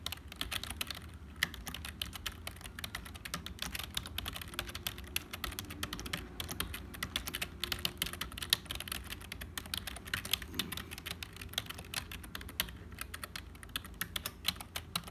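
A black HP full-size plastic membrane keyboard with a hollow casing is typed on rapidly with the fingertips of both hands, while a calculator beside it stays untouched. A steady stream of short, bright, clicky keystrokes runs throughout, each dying away almost instantly over a faint low hum.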